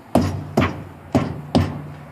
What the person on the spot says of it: Again, thump the tires, listen for the sound. They all sounded the same. That's a good sign.